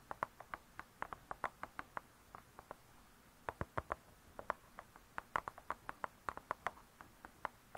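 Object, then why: Cardboard-covered spiral-bound book. Long nails tap the cardboard cover of a spiral-bound hardcover cookbook lying flat, making a quiet, irregular run of 37 short, dry clicks with little low end. Each tap is crisp and centered around 1 kHz, dying out almost instantly, with a brief pause in the middle before the tapping picks up again.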